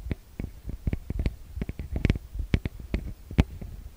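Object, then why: Metal mesh microphone grille. Fingertips and long nails tap and scratch on the metal-grille mic capsules of a TASCAM DR-40X recorder, up close. The result is a quick, irregular run of short, deep, thumpy taps with very little ring, each carrying a faint bright scratchy edge.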